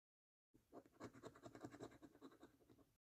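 A coin scratches the remaining scratch-off coating from the number circles in the games section of a thin paper £1 Million Snack Stack National Lottery scratch card pinned down by a fingertip. It makes a quick run of irregular, rough scraping strokes with a gritty mid-range texture for about two and a half seconds, then stops abruptly.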